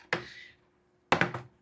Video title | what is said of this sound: వీళ్ళు తీసుకున్న రెండు జతల బట్టలకి నా ఒక నెల జీతం Vlog -- SAYDU JEDDHA DRIVER VIDEOS --@RJPT_VENKEY | ఈ చికెన్ కూడా చూడు ఎంత గట్టిగా ఉంటదో గట్టిగా ఉండది కొడితే చూడు సౌండ్ వస్తుంది